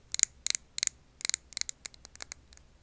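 Long nails tap a clear glass jar filled with wax candle. Quick clusters of sharp, bright clicks ring off with almost no low end and stop instantly, growing softer and sparser toward the end.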